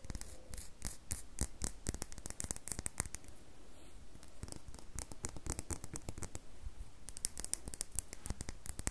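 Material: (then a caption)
Glycerin soap. Long nails scratch and rub the surface of an unwrapped, handheld, solid red glittery square bar of glycerin soap. The result is a dense run of quick, dry scratching clicks with bright crackly edges over a soft low rumble. There's a brief quieter stretch near the middle.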